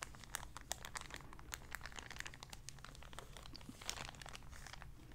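A small, empty, clear plastic zip-lock bag is crinkled and scrunched with fingertips and nails. The result is a quiet, steady stream of dense, sharp, bright crackles and snaps, with a low rumble underneath.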